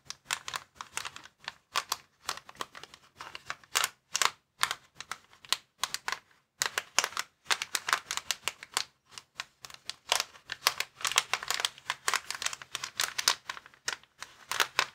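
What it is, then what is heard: Plastic air column cushion bag. Fingertips and nails scratch and tap the air columns of a clear plastic inflatable air column cushion bag lying flat. Quick, dry, bright crinkling taps and scrapes come in dense, uneven bursts with brief pauses. Each sound cuts off almost instantly, with no low rumble beneath.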